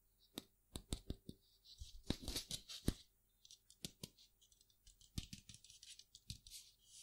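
A pair of palm-sized, hollow, blue-grey metal Chinese baoding balls with chimes inside is held in one hand, shaken and rotated. They give sharp, quick clicks as they knock together, mixed with bright, jingly ringing and rolling scrapes between the taps.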